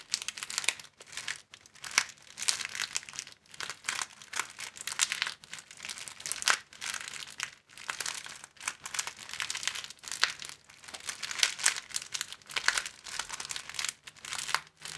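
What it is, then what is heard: Crinkling clear plastic film. Both hands bend, fold and flex an empty, thin clear plastic film sleeve, a long flat strip, with the fingers to crinkle it. The result is a dense, bright crackling in uneven bursts separated by brief near-silent pauses, with almost no low end and no ring after each crinkle.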